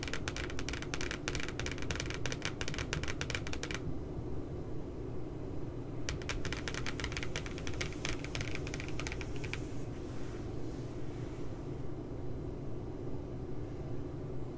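Long glittery nails rapidly tap and scratch the glossy cardboard front cover of a puppy spiral notebook, making dense bursts of bright, crisp clicking in two stretches separated by a short pause. A steady low hum runs underneath throughout, and the tapping fades away in the final seconds.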